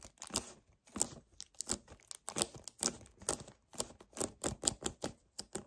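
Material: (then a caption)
Paperboard. Fingernails rapidly tap on a hollow 1 L white paperboard kefir carton while both hands grip it, producing a fast string of crisp, papery clicks and crinkly squeezes. The sound is bright and dry, with short hits and little low end.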